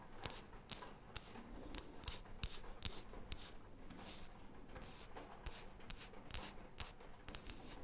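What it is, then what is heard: Wooden disc scratched with fingernails. Long painted fingernails rub and scratch across a thin, solid, round, light wooden disc. The result is a quiet series of short, quick, dry scratching strokes with a bright, hissy top and no ring, over a faint low rumble.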